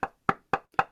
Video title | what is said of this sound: Transformative Healing: The Secrets to Managing Energetic Boundaries | this the sound of the wood when I knock my Knuckles on the wood